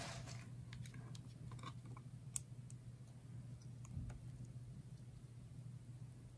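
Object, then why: Soap bar cut with a blade. A utility knife blade slices thin, ridged layers off a solid bar of red and yellow layered dry soap held in the hands. Faint, crisp, high clicks and scrapes sound over a steady low hum, with one sharper snap partway through.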